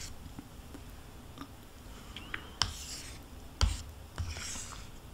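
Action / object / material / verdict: scrape / plastic yogurt cup scraped with a metal spoon / plastic / none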